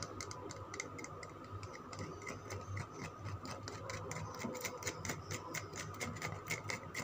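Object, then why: Bar of soap. Fingernails tap and scratch the surface of a solid green Lux soap bar held in the hand. Quick, irregular sharp clicks with a bright edge sound over soft, steady scraping and a low background hum.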